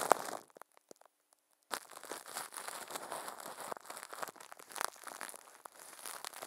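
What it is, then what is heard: Plastic wrap being crumpled. Thin clear plastic film wrapped around a microphone head is crinkled and squeezed by a puppet's furry hands. Dense, bright crackling and crumpling comes in short bursts, stops for about a second, then continues as a steady stream of crinkles.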